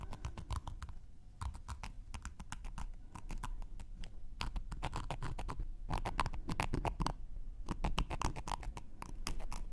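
A thin wooden knitting needle is scraped along the edge and face of a round, flat, solid cork coaster held in one hand. It makes quick, irregular dry scratches and ticks with bright clicks over a low rubbing rumble. The sound is steady and close, with no ring after each stroke.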